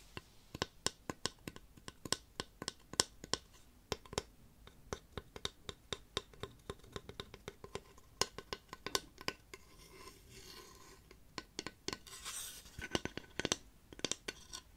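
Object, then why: Flat painted wooden figure. Fingernails tap and scratch a solid, flat, painted wooden dwarf cut-out held in the lap. Rapid, dry, bright clicks die away almost instantly. Stretches of softer hissing scratches between 10 and 13 seconds break up the tapping.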